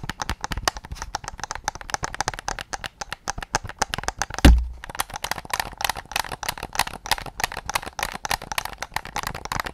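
Fingertips and nails tap rapidly on the back and triggers of a white hollow plastic PS5 controller, making a steady stream of dry, bright clicks and light knocks with very short ring. Midway through, one heavier, deeper thump stands out before the quick tapping resumes.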